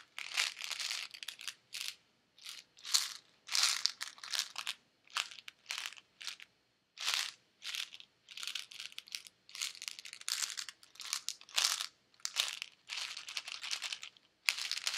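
A hand with red nails shakes a white, hollow plastic Advil bottle holding pills. The tablets rattle in quick, bright bursts separated by short silences, with almost no low end.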